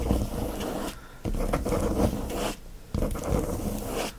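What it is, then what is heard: Plastic-wrapped paper pad scratched. Both hands quickly scratch the shiny plastic wrap of a flat watercolor paper pad with their fingernails. The result is dense, crackly scratching in several fast bursts separated by brief quieter pauses, with a low rumble underneath.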